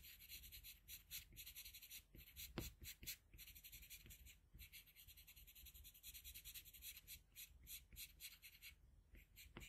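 A blue colored pencil held in a metal extender makes small, scratchy strokes on a sheet of flat white drawing paper while filling in an eye. The quiet, dry scratching comes in quick, uneven bursts with a bright, hissy edge over a faint low rumble.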